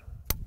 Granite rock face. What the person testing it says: the rock quality looks a little mungy, but when I tap on it, it sounds to me like it's solid back in there